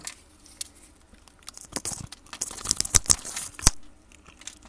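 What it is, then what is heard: Bar of soap being cut into cubes. A metal blade cuts cubes off a solid brown rectangular soap bar that has been scored into a grid and is held in a gloved hand. Irregular, crisp crunches and scraping snaps break up quiet stretches, with the sharpest, brightest cuts coming near the end.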